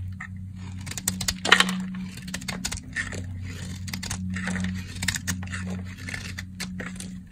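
A box-cutter blade slices crisp flakes off a solid, dry cream-colored soap bar. The result is a rapid series of bright, dry crackling scrapes, with one sharper crack near the start, over a steady low hum.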